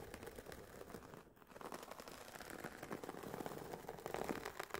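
Long painted nails tap and scratch the woven nylon fabric cover of an oval, semi-rigid, hollow Sony WH-1000XM4 headphone carry case resting on a fluffy mat. A dense stream of soft, dry, mid-toned taps and scratchy rasps briefly dips quiet early on, then builds slightly louder toward the end.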